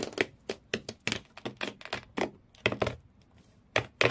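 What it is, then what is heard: Fingernails scratching cardboard in a shoe box. Thumbnails, then all the fingernails, scratch fast across the corrugated cardboard floor inside an empty shoe box. About fifteen quick, separate strokes come through as dry, crackly, bright scrapes with a papery midrange. Each burst cuts off almost at once, with very little ring.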